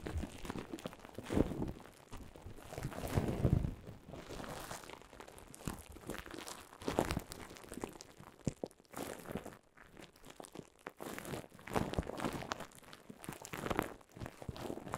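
Clear plastic bubble wrap, bunched over a microphone, is crinkled and squeezed with fingers and long nails. The result is a dense, continuous crackle of close, crunchy crinkles over a heavy low rumble from the handling. Louder bursts come near the start and around the 3-second mark, and there is a brief quieter lull near the middle.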